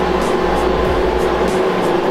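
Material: Nothing is struck.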